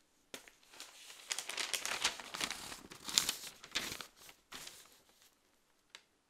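A large open newsprint newspaper is held at its lower edge with both hands while its pages are handled and turned. Soft, bright crinkling and rustling rise and fall in irregular bursts, with almost no low end. The sound thins out toward the end, leaving a last short crinkle.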